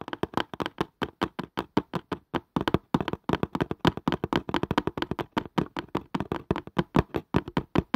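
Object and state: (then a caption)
Cardboard casing tapped. A cardboard casing is tapped quickly with the fingers, making a rapid run of about 50 short, dry, hollow taps with a low thud and no ring. The tapping pauses briefly around the middle before continuing at the same fast pace.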